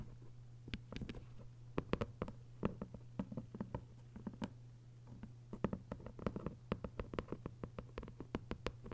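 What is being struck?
Hardcover paper book.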